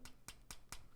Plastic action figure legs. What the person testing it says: His legs, a little bit too hollow for my liking. I mean, you can even hear them. It just even sounds hollow.